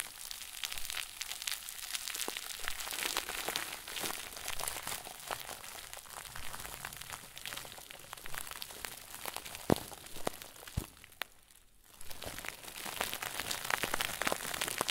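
A round white plastic bag stuffed into a crinkle ball is squeezed and crumpled by the fingers of both hands. It makes dense, bright crinkling and crackling with sharp snaps scattered throughout. The sound drops to near quiet for about a second before the crinkling resumes.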